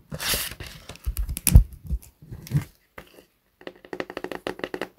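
A large, thick, solid hardcover science book of paper with a glossy cover lies flat and is then held upright and tapped on the cover with the fingertips. Soft rustles and dull, low thumps from the handling give way to a quick, even run of short, dry taps that die away almost instantly.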